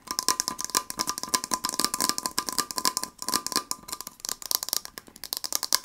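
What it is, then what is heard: Small metal tin. A small gold heart-shaped metal tin with a lid and label, probably holding a candle, is held in the hands and tapped rapidly with fingernails. The sound is a dense, rattle-like stream of about 40 bright, sharp metallic clicks that die away almost instantly, with a faint steady tone near 1 kHz underneath.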